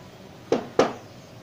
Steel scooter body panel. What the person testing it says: kalau suaranya nyaring berarti dia masih mulus